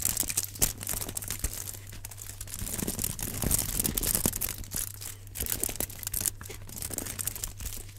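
Gloved fingertips crinkle and scratch the aluminum foil wrapping a rectangular block held in both hands. The result is a continuous, bright, crackling rustle with sharp little snaps throughout, over a steady low hum.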